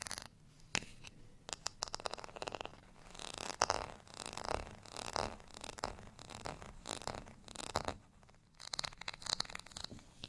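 Fingernails scratch the bumpy face of a beige, ridged plastic rice paddle with a handle. The result is a quiet run of dry, crackly scratching that comes in short swelling strokes, each made of rapid bright ticks with almost no low end.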